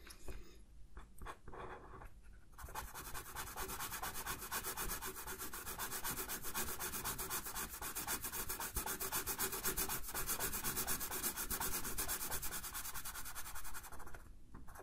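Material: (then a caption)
Paper. A light blue felt-tip marker colors in a white paper coloring sheet lying on a flat table, while the other hand rests on the sheet. A few scattered scratches of the tip open the clip, then a steady, brisk rubbing and scratching of fast back-and-forth strokes, about four a second, carries on with a bright papery hiss before easing off at the end.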